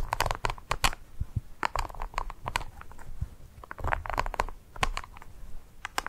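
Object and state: Dry ice pellet.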